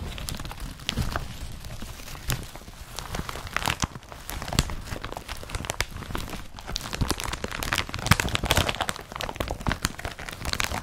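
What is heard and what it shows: An empty blue woven polypropylene IKEA BRATTBY carrier bag with straps has its fabric scratched and crumpled by the fingertips of both hands. The result is a dense, continuous crinkling with many sharp, short crackles and scratches. The sound carries a low rumbling body and bright, crisp high edges.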